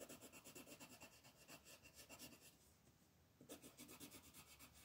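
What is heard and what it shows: A blue colored pencil tip is rubbed back and forth across a thin paper coloring book page lying flat on a wooden table to shade it, while the other hand, with long nails, holds the page. About 13 quick, bright, raspy scratching strokes are heard, with a brief quieter stretch of softer scratching in the middle before the rhythmic strokes resume.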